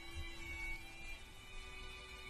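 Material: Nothing is struck.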